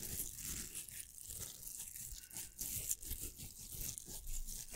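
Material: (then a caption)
Plastic. A pink hollow velcro hair roller is held in both hands while its hook surface is scratched with fingertips and nails. The result is a quiet, steady run of dry, crackly rasping and tearing-like scratches with a bright hiss, rising in short bursts and ending with a sharp louder scrape.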